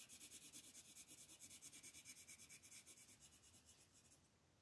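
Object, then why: Thin paper sheet on a table, rubbed with a wooden colored pencil. A green wooden colored pencil, held in the fingers, shades back and forth with its lead tip across a thin printed mandala coloring sheet lying flat on a table. The result is a steady, bright, scratchy rubbing made of quick, evenly spaced strokes that fade out near the end.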